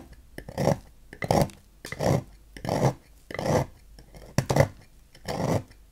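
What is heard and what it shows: A knife blade scrapes and cuts at the edge of a solid green oval Dex bar soap held in hand, with the shavings piling up on a white table. The audio is a steady series of soft, rasping scraping strokes, each a short swell with a dull, low-heavy body and brief clicks between them.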